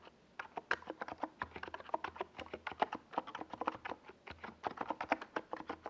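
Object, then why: Plastic mechanical keyboard. Fingertips of both hands type fast on a compact NiZ Plum Atom 68 plastic mechanical keyboard, with a white plastic case and purple and yellow Domikey Gas Attack SA plastic keycaps, resting on a desk pad. About 34 quick, distinct keystrokes sound as short, clacky mid-pitched taps that die away almost instantly, forming a steady patter with little low rumble.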